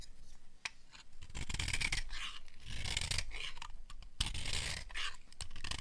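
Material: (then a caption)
Soap. A small metal blade scrapes and carves crumbly flakes off the edge of a solid rectangular bar of dry yellow soap with an embossed logo, held in one hand. Dry, crackly scraping and shaving sounds run in bright, rasping bursts, broken by a few sharp clicks as the blade cuts in.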